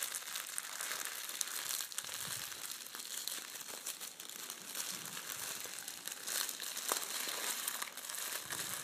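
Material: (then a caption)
Metal foil. A small folded packet of red metallic foil gift wrap is squeezed, crinkled and unfolded between the fingers of both hands. The result is a steady, dense, bright crinkling with sharp crackles scattered throughout and almost no low end.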